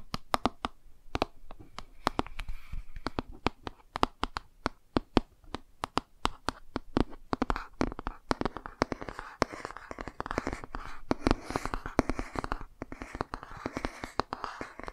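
Fingernails tap and scratch the glossy front cover of a laminated cardboard board book held upright. Sharp, dry, rapid taps come first, then from about the midpoint a steady rasping scratch fills in between them. Each tap dies away almost instantly.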